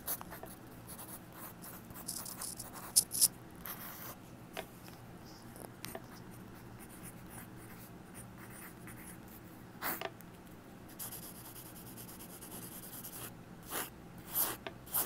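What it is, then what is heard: Pencil writing on a paper pad. A mechanical pencil writes and scratches letters across a yellow lined legal pad on a wooden table, recorded close up with an earbud microphone held on the pad. Quiet, bright scratchy strokes of graphite on paper continue throughout, broken by a few sharper, louder scrapes and taps.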